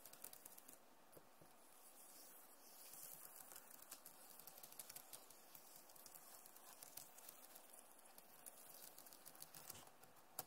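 Long nails tap quickly on the keys of a backlit plastic laptop keyboard, making a steady, soft patter of light, brief clicks with bright, crisp tops over about ten seconds. The taps run close together at a fairly even quiet level, with one sharper tick near the end.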